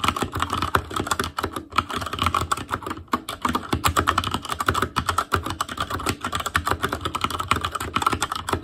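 An ASUS ROG Claymore Core mechanical keyboard with Cherry MX Red switches, black plastic keycaps on a metal frame, and a hollow RGB-backlit housing is typed on continuously with the fingertips of both hands. A rapid, steady stream of short, crisp plastic clacks comes through, with a bright midrange click around 1.4 kHz and a light low thud under each keystroke. Each tap dies away almost instantly.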